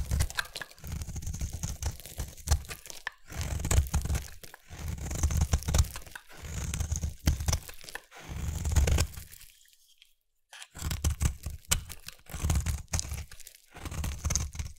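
A small blade carves a palm-sized, solid lime-green bar of soap held in one hand, scraping off curled shavings. Bursts of dense, crunchy, crackling scrapes with a heavy low body and bright crisp edges follow one another, separated by brief pauses and one longer near-silent gap before the carving resumes.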